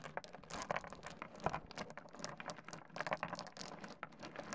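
Fingertips rake and shuffle small solid stone pebbles across a wooden desk, clacking them together. A dense, quiet stream of short, dry, bright clicks and rattles overlaps with a soft gritty scraping, with a few sharper clacks standing out and no ring after each one.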